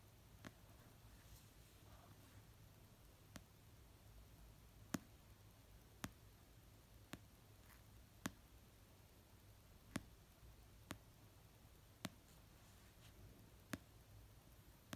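Fingernails tap slowly on the cover of an orange paperback novel resting on a blanket, producing 11 soft, sharp clicks spaced a second or more apart. Each tap dies away almost instantly, leaving a quiet low hum between hits.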